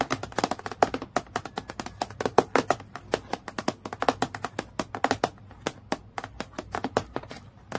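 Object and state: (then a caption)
Clear acrylic clipboard tapped with nails. Long nails tap rapidly on a transparent acrylic plastic clipboard lying flat, giving 52 quick, sharp clicks with almost no ring. The taps are crisp and bright, with a light hollow plastic tone and faint low hum underneath.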